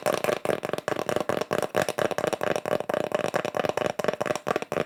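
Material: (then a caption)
Wood. Fingertips tap quickly on small wood slices with the bark still on, each decorated with pyrography mushroom art burned into the surface. The taps sound dry and hollow, with a woody tone around 600 Hz. Each tap dies away almost instantly in a steady, rapid series.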